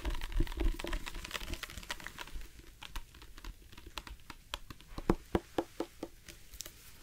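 A tall, hollow black plastic drinking bottle with a screw cap is held in one hand and tapped along its side with the fingertips and nails of the other hand. Quick, irregular taps give dull, hollow thumps with crisp, crackly clicks from the nails. The tapping is dense and busy at first, then thins out into sparser, sharper individual taps.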